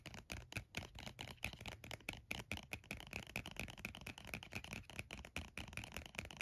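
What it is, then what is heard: Plastic lotion squeeze tube. A red plastic body cream squeeze tube, about 8 oz and apparently full, is held in the hands and tapped and scratched with the nails. It gives a rapid, steady run of 26 short, dry, bright clicks, each with a faint hollow plastic tick near 2.5 kHz over a soft low thud and scratchy hiss. Every tap dies almost at once.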